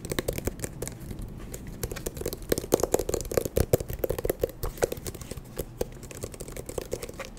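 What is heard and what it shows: An eyeglass case is tapped quickly and continuously, giving a dense stream of short, dry, clicky taps with a faint hollow tone around 480 Hz. The taps stop almost instantly with no ring, growing a little louder and busier in the middle before settling back to a steady patter.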